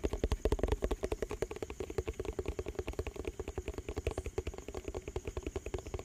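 A round, hollow yellow plastic tub with a lid and printed label is tapped and scratched with fingertips and nails. It makes a fast, uneven run of about 47 short, dull, low thumps with a faint hollow knock and light scratching between them.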